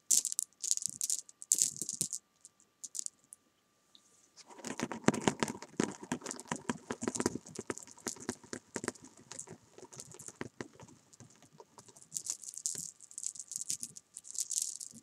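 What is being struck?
Jelly bean candies.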